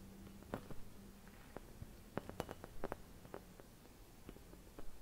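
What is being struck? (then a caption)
Thin glass Christmas bauble. Fingertips with long red nails scratch and tap a hollow, empty clear glass Christmas bauble decorated with white painted swirls, producing quiet, dry clicks and soft scrapes with a low hum underneath. The taps are short and irregular, with no lingering ring.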